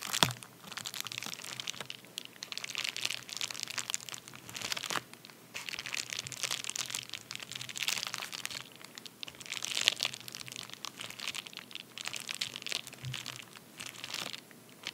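A medium white padded paper bubble mailer resting on a towel is rubbed and crinkled with fingertips and nails. The result is a steady run of bright, dry crinkling and crunching with short crackling bursts, easing into brief quieter pauses between passes.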